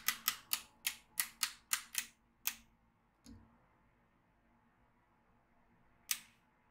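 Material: Steel beads.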